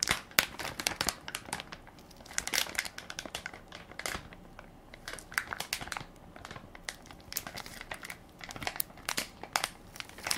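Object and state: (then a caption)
Plastic baby wipes soft pack being crinkled. Fingertips and nails press and crinkle the plastic film of a hand-sized Equate baby wipes soft pack, full of wipes and held in one palm. Bright, crackly crinkles come in uneven bursts separated by short quieter stretches, with almost no low end.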